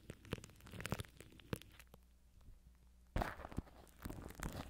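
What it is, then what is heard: Cling film scratched over a microphone. Fingertips scratch and rub plastic cling film wrapped tight around a microphone head, working from the top of the wrap. Close, crackly crinkles and sharp scratchy bursts sit over a steady low hum, with a quieter stretch in the middle before a loud, dense burst of rustling returns.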